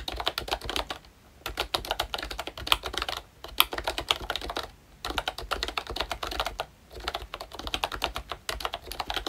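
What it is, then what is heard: Plastic membrane keyboard with round keycaps. Fingertips type steadily on a full-size ROYCHE Disney Mickey Mouse retro membrane keyboard, with a hollow plastic case and round plastic keycaps. The bursts of quick, bright, clacky plastic taps are broken by brief pauses. Each tap is short and dry with almost no ring, and there is little low end.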